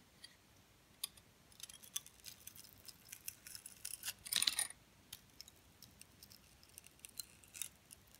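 A metal blade begins scraping the coating off a solid, hand-sized purple glitter-coated soap bar held in the hand. It makes a quiet series of crisp, bright scratches and ticks, with a denser, longer rasp about halfway through and almost no low end.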